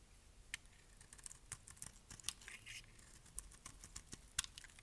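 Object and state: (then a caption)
Dry bar soap being shaved. A metal blade shaves flakes off the edge of a palm-sized, solid pink bar of dry soap with an embossed logo, held in the hand. It makes a quiet, irregular series of crisp, bright scraping clicks and crackles, each dying away almost instantly.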